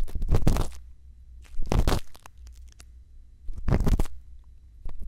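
A thin bamboo earpick scrapes inside the canal of the right silicone ear of a binaural microphone. It makes close, muffled scratching and crunching in three main bursts, with a deep low rumble and quieter rustling between them.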